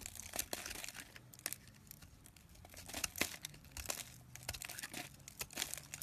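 A knife blade scrapes and carves a solid, hand-sized round white soap bar with red inclusions, held in fingers with short painted nails, and shavings crumble off onto a pile below. Dry, bright crinkling and crunchy crackles come in quick bursts of scraping, with brief quieter gaps between strokes.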